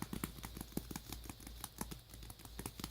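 Fingers tap quickly and lightly on a worn tablet case with a magnetic flap, holding a tablet inside. The rapid taps are soft, dull and short, with little ring, over a steady low hum.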